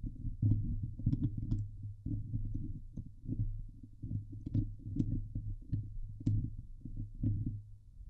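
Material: Steel mesh.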